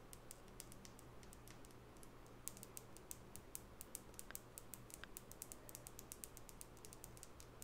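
Long natural fingernails tap the flat wooden side of a small solid light-wood nail brush with natural bristles, held in the other hand. A steady run of quick, bright clicks sounds over a constant low hum, each tap dying away almost at once.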